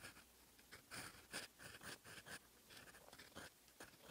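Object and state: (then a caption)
Steel pen nib writing on paper. A steel fountain pen nib writes in black ink on a lined paper sheet of a notebook page, scratching across the paper. A series of short, dry, scratchy strokes is heard, with a bright, high hiss and a scraping tone around 1.6 kHz, separated by quiet pauses.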